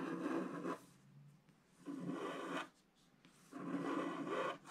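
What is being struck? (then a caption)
Wax-coated scratch art paper scraped with a wooden stylus. A wooden stylus draws long scraping lines through the black coating of a flat, wax-coated scratch art sheet. Three separate scratching strokes are heard, each a dry, raspy rub with a mid-range body and airy, bright hiss, separated by brief quiet pauses.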